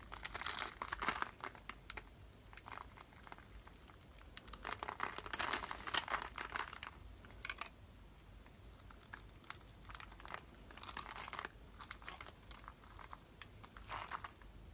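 A metal blade scrapes and cuts along the pre-scored end of a solid rectangular pink bar of dry soap held in one hand, shaving off small soap cubes. Dry, bright crunching and crinkling scrapes come in irregular bursts, loudest near the start and middle, with quieter scratching between them.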